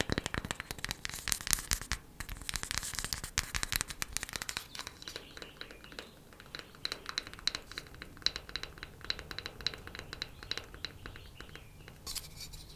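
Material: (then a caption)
Wood. A wooden coaster is tapped quickly with the fingernails, producing a rapid stream of light, crisp clicks. The taps are bright and high-pitched with almost no ring. They come in a dense flurry over the first few seconds, then continue in sparser, sharper bursts.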